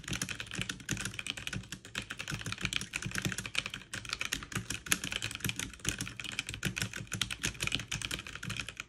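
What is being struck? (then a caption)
Plastic mechanical keyboard. Two hands with long nails type quickly with their fingertips on a backlit mechanical keyboard with plastic keycaps. The result is a dense, steady stream of short, bright plastic clicks and clacks over a soft low thump from each keystroke, with no pauses.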